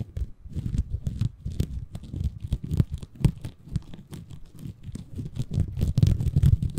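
Fingertips scratch and squeeze a small, soft, compressible green porous bamboo fiber sponge held in both hands above a Tascam recorder. The result is a dense, irregular stream of short, dry crackling and rustling scrapes, heavy in the low end with faint bright edges, swelling slightly louder toward the end.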